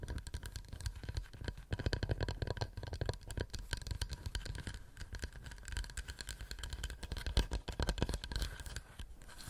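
Fingernails tap rapidly and continuously on a wooden plate for close-up ASMR. The quiet, dense patter of short, dry clicks and soft scratchy contact is weighted toward low thuds, with each tap dying away almost instantly.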